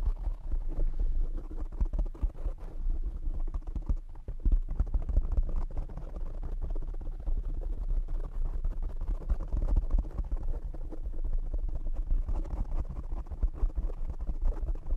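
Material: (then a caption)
Foam. Fingertips and short nails tap quickly on the soft black foam windscreen of a condenser microphone. The result is a dense, continuous stream of muffled low thumps and scratchy rustling, heavy in the bass with almost no bright content and very short decay.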